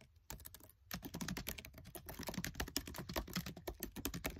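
Fingertips with short nails type fast on the black plastic keys of a MacBook Air keyboard set in an aluminium body. After a few sparse taps, a dense run of quick, dry clicks with short decay follows, about 27 keystrokes in all.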